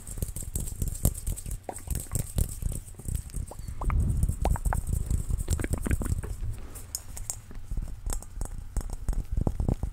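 A large, hollow, transparent dimpled plastic ball, about head-sized with colorful print or confetti inside, is held in both hands and tapped with fingertips and nails. Quick, dense, dull taps and soft patters run throughout with little ring, sitting mostly in a low thump with some bright clicks from the nails.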